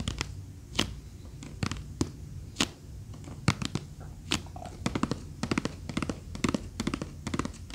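A small rectangular box with a reddish wooden frame and a teal flamingo-print lid, apparently hollow, is held in both hands and rapidly tapped and scratched with long fingernails. Sharp, bright clicks and taps come in quick irregular bursts, each dying away almost instantly, over a faint low hum and soft scratching.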